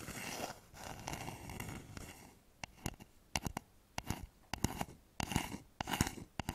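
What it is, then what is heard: Wooden bowl, scratched and tapped. Fingernails scratch the outer side of a hollow, polished wooden bowl turned upside down over microphones, making a steady, bright, rasping noise for about the first two and a half seconds. This is followed by a series of short, sharp, dry taps on the bowl's outer side with very little ring.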